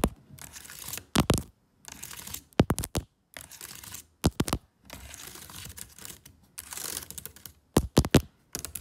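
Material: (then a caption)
Plastic. Long fake nails tap and type rapidly on the plastic keys of a MacBook laptop keyboard in an aluminium body. Bursts of fast, dry clicking with a bright, scratchy edge alternate with brief silences. Sharper, louder clacks stand out between the runs.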